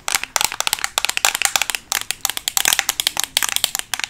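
A black Makeup Revolution eyeshadow palette, a flat closed plastic case held close to the microphone, is fast-tapped with metal paperclips worn on long nails. About 25 rapid, bright, clicky taps come in quick irregular bursts, each dying away almost instantly with no low-end weight.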